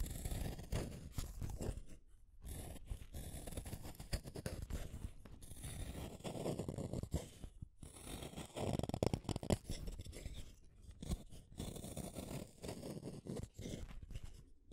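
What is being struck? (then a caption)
Wooden colored pencil. A small metal blade in a yellow holder shaves a solid blue wooden colored pencil. Dense, crunchy scraping strokes repeat in quick rough bursts, broken by a few short pauses. The sound is low and woody, with little bright content.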